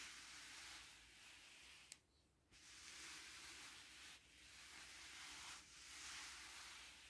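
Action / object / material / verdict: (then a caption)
scrape / smooth fabric bed sheet / fabric / none. Short painted nails and fingertips scratch across a large black bed sheet with a pink and white floral print, a smooth satin-like fabric lying flat. A steady, bright, airy hiss of scratching runs throughout, broken by a small tick and a brief quiet pause near two seconds and two shorter dips later on.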